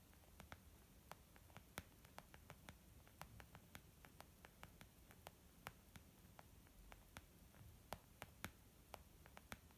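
Long nails on both hands gently tap a small white textured leather zip makeup bag lying flat, soft and hollow. About 34 quick, sharp clicky taps come in an uneven patter, each dying away almost instantly over a quiet low hum and faint hiss.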